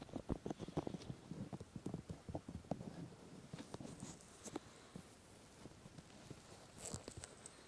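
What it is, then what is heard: Silicone ear replicas being rubbed. Both hands cup and rub the two white silicone ear replicas on the black body of a 3Dio binaural microphone, using fingertips and palms. The result is a quick run of soft, low, muffled thumps and rubbing pats that grow quieter after the first half, with a brief brighter swish near the end.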